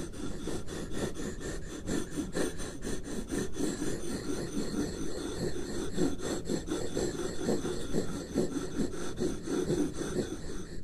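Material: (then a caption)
Paper. Two wooden stick tools slowly trace and rub over a single sheet of white paper lying flat on a wooden desk. The result is a steady, soft rasping and rubbing with irregular repeated strokes, mostly low and muffled with little high-end brightness.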